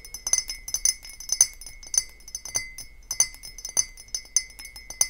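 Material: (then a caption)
Glass. Long painted fingernails tap and knock on an empty, hollow clear glass beer-style mug with a handle standing on a table. The result is a run of irregular, bright, high-pitched glassy clinks, each dying away almost instantly, over a steady faint high tone.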